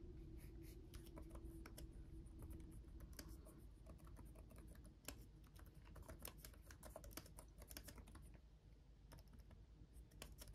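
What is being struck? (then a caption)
Plastic laptop keyboard keys. Fingertips from both hands tap steadily across the plastic keys of a black laptop keyboard with RGB backlighting. The result is a continuous stream of quick, light, dry clicks with bright edges over a faint, steady low hum.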